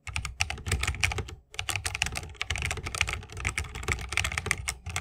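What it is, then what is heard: Mechanical keyboard with bamboo case and plastic keycaps. Continuous fingertip typing with both hands on a 60% mechanical keyboard with a bamboo case, plastic keycaps and Holy Panda switches. It makes a dense stream of short, bright clacks over a deeper thock, with a brief pause about one and a half seconds in. Each keystroke dies away almost instantly.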